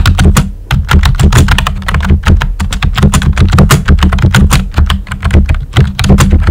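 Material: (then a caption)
Plastic. A full-size pink plastic keyboard with a hollow body and round white typewriter-style plastic keycaps is typed on steadily by fingertips with short nails. The clicks are quick and dense, each with a sharp bright tick over a deep, hollow thud. Every keystroke dies away almost at once.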